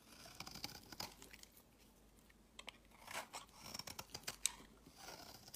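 A utility knife blade repeatedly scrapes crumbly shavings off the edge of a solid, palm-sized, pale green bar of soap held in the hand. Quiet, bright, crisp scratching and crunching strokes come in short bursts. Each is dry and brief with no ring, and there is a small pause near the middle.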